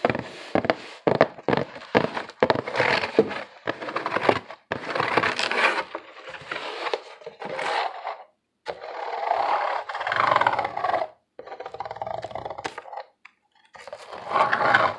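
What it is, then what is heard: Corrugated cardboard box being scratched. A hollow corrugated cardboard box is held in both hands while fingernails scratch its surface and the box is tilted. Bursts of dry, crackling scratching and short sharp scrapes come in uneven runs, separated by brief silent pauses.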